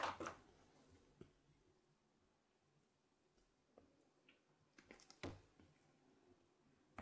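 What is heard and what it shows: A hand-sized, solid, flower-shaped block of translucent white glycerine soap, held in one hand, is shaved and scraped with a red-patterned carving knife over a pile of soap shavings. Quiet, crisp scraping and shaving strokes come at scattered intervals, with a louder burst at the start and a few sharper strokes near the five-second mark. Faint background hiss fills the pauses between strokes.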